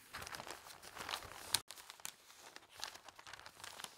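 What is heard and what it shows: Fingertips press and smooth the thin newsprint pages of an open broadsheet paper newspaper on a table, then lift one page. The result is a soft, bright, crinkly rustle of paper with brief crisp crackles and a sharp snap partway through.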